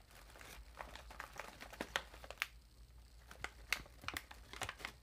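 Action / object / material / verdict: scrape / air-filled metallized plastic chip bag / metallized plastic / none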